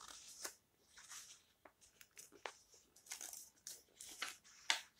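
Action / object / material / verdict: scrape / paper book pages / paper / none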